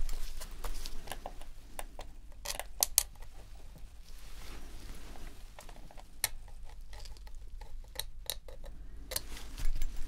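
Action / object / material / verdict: scrape / plastic game controller / plastic / none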